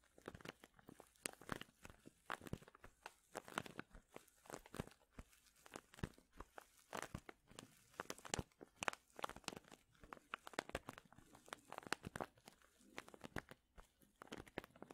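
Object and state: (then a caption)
Plastic zip bag of wool. A medium clear plastic zip bag full of soft purple wool fibre is held at an angle and squeezed and crinkled with the fingers. Quiet, dry crackles and crinkles come in dense, irregular bursts across the full 15 seconds. Each snap is short and sharp with almost no ring, spread from low rustle to bright crisp highs.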